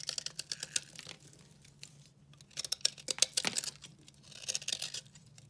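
A solid, very dry recycled soap bar with blue and pink speckles is held in the hand and carved with a utility knife blade, shedding crumbly shavings. The clip is a series of dry, bright scraping and crackling cuts in three bursts separated by quieter pauses. The cuts have almost no low end and die away instantly.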